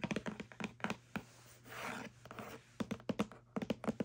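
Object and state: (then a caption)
Cardboard box scratched and tapped with nails. Long French-manicured nails scratch along the side and edge of a small, hollow corrugated kraft cardboard box. About twenty quick, dry taps and scratches come in bursts, each with a short hollow thud, and a soft, breathy scrape swells up in the quiet middle stretch.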